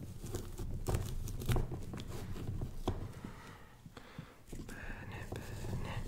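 A small knife scratches and incises an outline into the rind of a large, fresh orange pumpkin that is held from above by one hand. Dull, low scraping and crunchy cutting sounds come in irregular bursts, with a few sharper clicks as the blade catches and drags through the rind.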